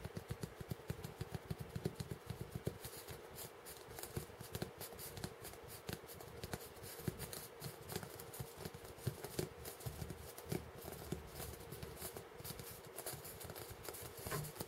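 A large, about hand-sized, solid white polystyrene foam ball is held in both hands while fingertips and short nails rub, scratch and tap its surface. The result is a steady, quiet, low scuffing rustle dotted with many short, dry clicks and scratchy ticks, with a faint, even hum underneath throughout.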